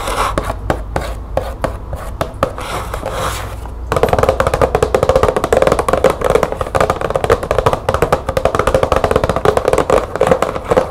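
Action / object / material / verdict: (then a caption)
tap / cardboard box with bulbs inside / cardboard / none. Long nails tap quickly on the side panel of a hollow, green printed cardboard light bulb box with bulbs inside. The taps make short, dry, hollow knocks with a papery mid-range tone around 530 Hz and almost no ring. They start lighter and sparser, then after about four seconds become a louder, denser rapid patter.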